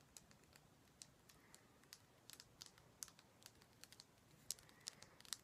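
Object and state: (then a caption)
Himalayan salt rock lamp. Fingers tap on a heavy Himalayan salt rock lamp, producing about nineteen quiet, sharp, bright clicks with almost no ring, a sound similar to tapping rose quartz. The taps are irregularly spaced over a faint background hiss, and a few near the end are louder.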